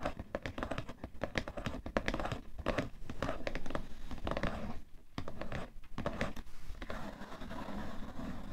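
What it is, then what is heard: Cardboard tissue box. Fingertips and nails tap rapidly on the side and top of a cardboard tissue box, mixed with scratchy rubbing. The taps are soft, dull and hollow, with a low-heavy body and very little brightness, each dying away almost at once in a close, quiet space.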